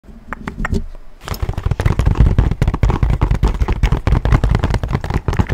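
A small, hollow tan-orange leather satchel with buckled straps and brass hardware is held close to the microphone and tapped with fingertips and nails. A few sparse, crisp taps open the clip, then give way to fast, irregular drumming of dull, hollow thumps with bright clicky edges.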